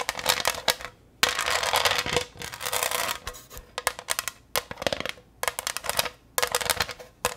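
Long green nails tap and scratch the faceted surface of a green textured glass pineapple-shaped dish held up in the air. Bright, clicky glassy ticks come in quick bursts and longer rattling runs, with almost no low end and very short decay between pauses.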